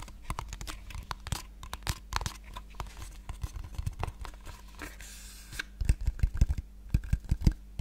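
A small, hollow pink cardboard box held in one hand is tapped rapidly with the long painted nails of the other hand. The result is an irregular stream of short, dry clicks and hollow knocks with a low papery thump and brief scratchy rustles between taps, with the taps growing louder and denser toward the end.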